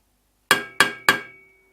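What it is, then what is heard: Mild steel exhaust manifold. A mild steel exhaust manifold from a Ford Racing Puma is tapped three times as a comparison test, each tap a short metallic clink that decays quickly with a faint ring. Mild steel is the right material for the manifold because it dissipates noise and vibration and has some flexibility.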